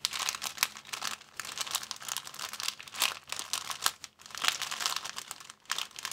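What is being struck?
Thin plastic bag.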